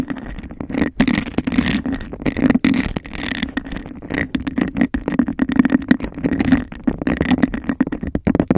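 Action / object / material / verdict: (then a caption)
scrape / embossed glass cup / glass / none. Long acrylic nails rapidly scratch and tap the bumpy surface of a hollow, empty, hand-sized cup of embossed glass. The result is a dense, continuous stream of rasping scrapes and quick clicks over a steady low, hollow tone around 250 Hz. Each tap dies away almost instantly.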